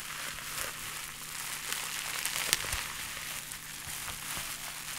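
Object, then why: Plastic bubble wrap. A bundle of clear plastic bubble wrap is held in both hands and squeezed and crinkled with the fingers. The result is a continuous bright, dense crinkling with scattered sharp crackles and one louder snap midway, over a faint steady low hum.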